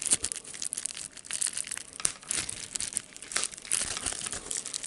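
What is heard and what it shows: A sheet of clear plastic bubble wrap with air bubbles is pinched between the fingers, popping the bubbles and crinkling the sheet. Sharp, dry pops cut through a steady bright crackle, each snap dying away almost instantly with very little low end.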